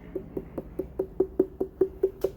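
Eleven quick, evenly spaced knocks on a small 9.96 lb SweetGlo watermelon with a dried-up tendril and a yellow spot on the bottom give short, hollow-sounding thumps pitched around 380 Hz. Cut open, the melon proves slightly underripe, with a bit of green flesh and seeds only starting to turn brown.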